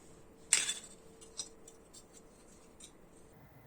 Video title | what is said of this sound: Just a simple build This red will make you kneel / Ferrari 312T / Niki Lauda / Tamiya 1/12 ASMR | 備長炭を叩いたように乾いた音が深夜に響きます